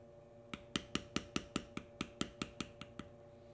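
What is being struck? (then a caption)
Veg-tan leather panel struck with a steel beveler on a stone slab. A steel beveler held by the fingertips is tapped rapidly along the cut lines of a knotwork carving on a solid tan veg-tan leather panel resting on a stone slab. Thirteen short, dull taps with bright clicky tops come in a quick, slightly uneven rhythm, each dying away almost instantly over a faint steady hum.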